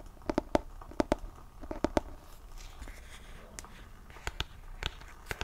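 Fingertips and nails tap and scratch the glossy printed front cover of a solid, medium-sized hardcover book held close to the mic. In the first two seconds, quick pairs of sharp, dry taps carry a short hollow tone around 300–600 Hz. Softer scratching follows, broken by a few scattered bright clicks.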